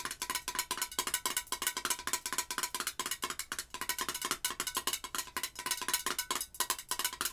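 Long acrylic nails tap rapidly on the glass side of a pink Vanilla Pumpkin Marshmallow candle jar filled with wax and topped with a gold metal screw lid. The result is a fast, steady stream of bright, clicky ticks, each with a short glassy ping near 1 kHz that dies away almost at once.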